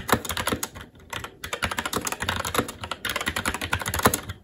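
A SteelSeries Apex 7 TKL mechanical keyboard with red linear switches, plastic keycaps and a metal top plate is typed on continuously with the fingertips of both hands. Rapid, crisp plastic key clacks run in uneven bursts with brief pauses, each stroke short and dry with almost no ring.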